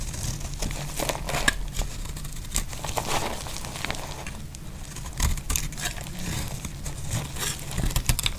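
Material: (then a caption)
Soap. A metal utility blade scrapes and slices flakes off a solid, dry yellow soap bar held in the hand. The clip is a steady run of dry, crisp crackling and scraping strokes with sharp, bright clicks scattered through it. A low rumble sits underneath the whole time.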